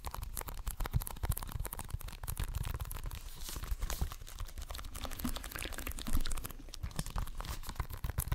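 Fingertips and nails tap and scratch the surface and spine of a hollow plastic Xbox One game case. The result is a dense, steady run of quick crackly clicks and scratchy rasps over a soft low thump, with the strokes blurring together rather than standing apart.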